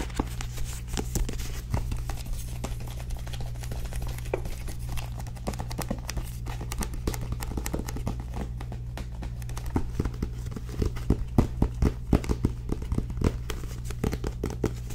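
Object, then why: Paperback book with card cover. Long nails tap rapidly on the back cover of a small paperback book with a card cover while it is held up. The taps are quick and dry, with almost no ring, over a steady low hum, and they grow louder and sharper toward the end.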